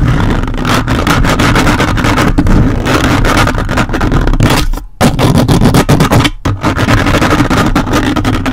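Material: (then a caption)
Metal mesh. Grey plastic toy robot-hand fingers repeatedly scratch and grip the dark metal mesh grille on the hollow head of a large red-bodied desktop microphone. The result is a loud, continuous, dense scraping and rustling, heavy in low rumbling tones, with brief near-silent breaks around 5 and 6.4 seconds.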